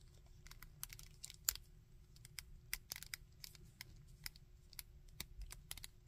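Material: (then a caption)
Plastic. Fingertips and nails bend the solid jointed limbs of a small painted-plastic Iron Man action figure, rubbing and tapping it. A rapid, irregular series of sharp, bright clicks and dry crackles sits over a steady low background rumble, each click stopping almost instantly.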